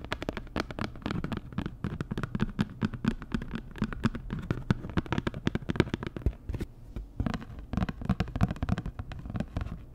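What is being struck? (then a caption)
Flat printed cardboard card. Long nails tap and scratch a flat, postcard-sized printed cardboard Dior packaging card in rapid, uneven bursts. The taps are dry and crisp with a full low body, and each stops dead with no ring, while a soft scratchy crackle runs between them throughout.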